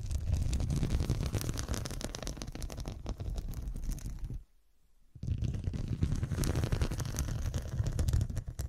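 Long dark nails tap and scratch the square faceted glass studs covering a fabric cushion, making a dense, rapid stream of small clicks and scraping with a heavy low rumble underneath. The sound drops to near silence for under a second midway, then resumes just as busily.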